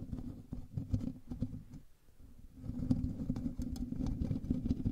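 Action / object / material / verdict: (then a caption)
scrape / metal mesh microphone grille / metal mesh / none. Fingertips and nails of both hands scratch the hollow metal mesh grille of a black USB microphone. The result is a dense, low, rumbling patter of rapid scratches with faint brighter ticks. It nearly fades out around the two-second mark, then returns louder.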